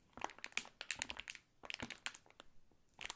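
A full Fruity Farm gummy candy bag made of plastic film is held and squeezed with the fingertips. It gives short, bright, crackly crinkles in uneven bursts, mostly high in pitch with little low end. There is a brief lull in the middle and a last flurry at the end.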